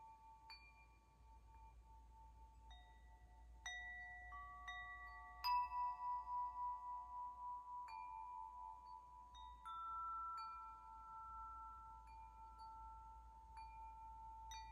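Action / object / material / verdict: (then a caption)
shake / metal tube wind chime / metal / none. A hollow metal tube wind chime is held up and gently shaken so its tubes ring against the striker. Clear, overlapping bell-like tones centred near 1 kHz sound with bright high overtones. The tones sustain and shimmer with a pulsing beat as new strikes layer over the fading ones.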